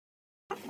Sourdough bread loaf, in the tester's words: você bate no fundo ele faz um som oco como se fosse um tambor